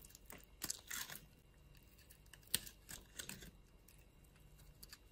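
A utility knife blade scrapes thin flakes off a solid, palm-sized white bar of soap held in a palm, with long glitter nails visible. A series of short, bright, crisp scraping and crunching bursts is heard at low volume, each dying away almost instantly, with quiet gaps between them.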